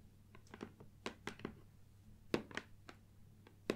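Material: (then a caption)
Cardboard. Long nails and fingertips tap and knock on the front and sides of a closed, hollow gold cardboard Nikon lens box with its contents inside, resting on a wooden table. About 11 short, dry, irregularly spaced taps sound, each a brief hollow knock with a crisp nail click and almost no ring, over a quiet background.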